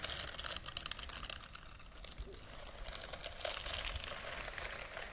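Long nails and fingertips scratch and rub across the short bristles of a white silicone dishwashing glove worn on the other hand close to the microphone. The result is a steady, dense crackle of quick, bright ticks and rustling scratches that continues without a break.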